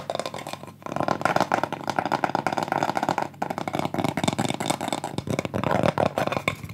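Fingertips and painted nails tap and scratch the surface and edge of a thin, solid, round light-wood pyrography plaque about 20 cm across, decorated with burned flower drawings and held in both hands. The result is a dense, continuous stream of short, dry clicks and scratchy rasps, with brief lulls near 0.8 and 3.4 seconds.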